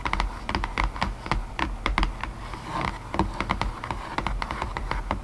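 Long nails tap rapidly on the inner floor of an open, empty white cardboard box tray, giving a steady stream of short, hollow clicks. Each tap has a dull low thump under a brighter tick, and the sound dies away almost at once.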